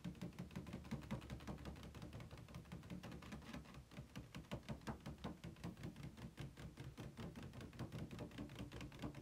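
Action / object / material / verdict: tap / thin plastic packaging tray / plastic / none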